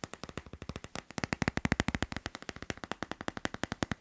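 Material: Plastic.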